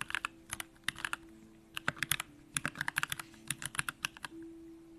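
Both hands type with the fingertips on a compact Bakeneko65 mechanical keyboard with an aluminum case, pink plastic keycaps and Durock lavender switches. It gives quick bursts of short, bright clacking keystrokes with brief pauses. A faint steady hum runs underneath and grows a little louder at the end.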